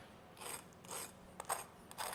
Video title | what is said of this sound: 5 different ways to cook potatoes | you can hear as well how crispy they are